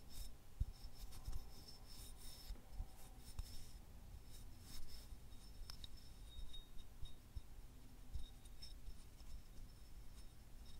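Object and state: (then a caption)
Selenite crystal wand. Fingertips and nails repeatedly rub and scratch a small, solid, white, fibrous selenite wand held in both hands. The result is a quiet, raspy texture of soft scrapes with thin, bright edges over a low, steady rumble.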